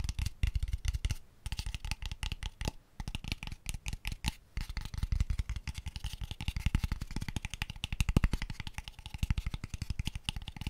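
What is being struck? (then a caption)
Small hollow wooden box. A small, light-coloured hollow wooden box with open ends is held beside the mic and tapped very fast with fingertips. The result is a dense, rapid stream of short, dull, knocking taps that are mostly low and boomy, with only a little bright clatter. The taps stop briefly a few times before picking up again.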